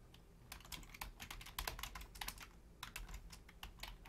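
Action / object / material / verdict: tap / plastic computer keyboard / plastic / none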